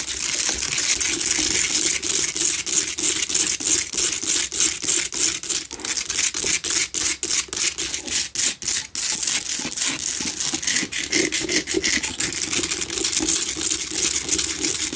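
A small lit Himalayan rock-salt lamp, a solid crystal chunk standing upright, is claw-scratched and tapped on its sides by both hands with long acrylic nails. Rapid, uneven clicking taps and gritty scraping run throughout. The sound is bright, hissy and high, with only short, dry decays.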